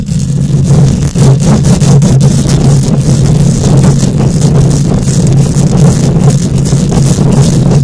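Long nails scratch quickly with both hands across a hollow steel mesh microphone grille. The result is a continuous, loud, rumbling roar centered around a low 130 Hz hum, with dense scraping texture and a faint bright hiss on top, sounding much like an engine running.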